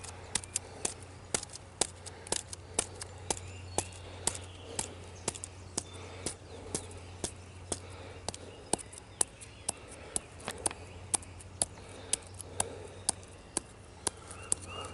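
A flat hand and fingertips rub and scratch the rough, scaly bark of a solid tree trunk, producing an uneven run of about 40 sharp, dry scratching clicks. The clicks sit over a steady low hum and faint background noise.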